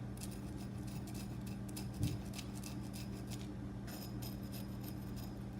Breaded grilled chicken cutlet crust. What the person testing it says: listen up to the beautiful crisp crust so you can see just how crispy these turned out